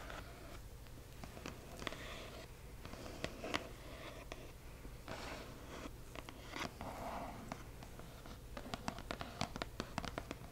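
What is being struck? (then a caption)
Cardboard box. Long acrylic nails scratch and tap across the front panel of a hollow cardboard box printed with "Accio!". Soft, quiet scratching and rustling runs throughout, broken by short, bright taps that cluster more densely near the end, over a steady low hum.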